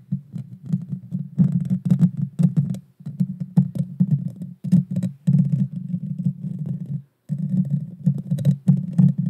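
Long dark fingernails scratch the small, hollow, round metal mesh grille of a Blue Yeti Nano microphone. The result is a dense, low, rumbling scrape with quick bursts of sharp clicks and crackles, broken by short pauses.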